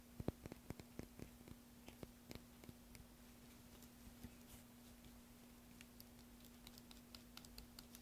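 A small metal carving tool scrapes and cuts into a solid green soap block held upright over a tray of shavings, using repeated short strokes. Quiet, dry scratchy clicks come in quick irregular bursts, busier at the start and sparser later, each one short and bright. A faint steady low hum runs underneath throughout.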